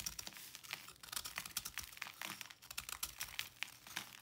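A small knife blade cuts and scrapes into the edge of a round, palm-sized block of pressed, slightly damp white salt held in one hand with long painted nails, crumbling it. A rapid stream of crisp, bright crunches and gritty scrapes is heard, with almost no low end and no ringing after each cut.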